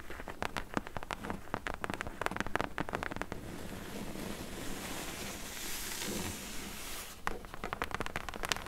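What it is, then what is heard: Cardboard box scratched and tapped. Long nails tap and scratch the front corner edge of a medium, closed, hollow corrugated cardboard shipping box. A run of quick, dry taps gives way to a steady rough scratching in the middle, then more sharp taps follow at the end.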